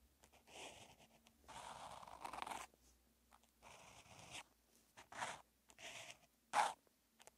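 A felt-tipped outline marker is drawn across a flat sheet of white paper in a Chinese-character practice notebook with a red grid. It makes soft rubbing and scratching sounds in steady writing strokes. The short bursts are separated by quiet pauses, with a brighter, sharper scratch near the end.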